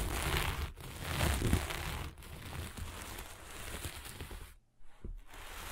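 A flat sheet of sequin-covered fabric is scratched quickly with long nails of both hands and brushed with a flat hand. The result is a dense, crackling, crinkly rustle with a bright hiss and a low rumble. There is a brief near-silent gap before the scratching resumes.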